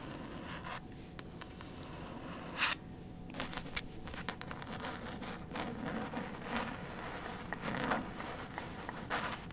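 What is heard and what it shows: Very long white stiletto acrylic nails scratch and tap across the glossy paper dust jacket on the front cover of the hardcover novel "Lock and Key", held up in both hands. Soft, dry scratching and rustling runs throughout, broken by sharp, bright taps and clicks with short, quick-fading decays against a low, steady background.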